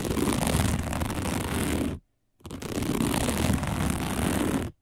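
Long nails scratch fast and aggressively across a round, flat, dark woven plastic placemat. Two dense bursts of rough, rasping scratching, each about two seconds long, are separated by a brief silence. The sound is full and gritty, with most of its weight in the low range.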